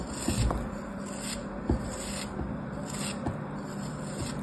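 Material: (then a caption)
Kinetic sand. A partly cut, solid kinetic sand castle shape held in the fingers is sliced and scraped with a metal craft blade, and pieces crumble off. A steady, soft, grainy scraping and rubbing runs throughout, heavy in the low end, with a few brief, slightly louder crunches as the blade bites in.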